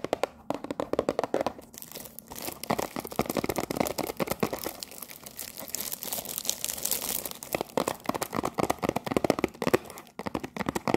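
Long nails scratch and tap the top and front of a cellophane-wrapped cardboard tea box. The result is a steady run of quick, dry taps and crinkly scratching, with a bright plastic rustle over the box's hollow midrange knock. The taps die away instantly with no ring.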